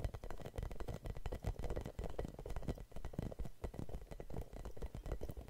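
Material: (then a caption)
Rubber. Long nails scratch over a red hollow rubber spiky massage ball with a label. The result is a dense, continuous run of quick, soft scratching and bumpy rubbing. It sounds muffled and low, with almost no bright edge and very little ring after each stroke.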